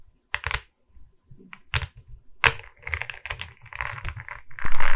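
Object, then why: Diamond painting of resin beads on a wooden board. A diamond painting of resin beads on a wooden canvas board is held at its sides while long red nails tap the resin bead face and the wooden frame. The result is quick, dry clicking taps with low thumps beneath them, like typing on a keyboard. The taps come in scattered bursts at first, then grow denser and louder toward the end.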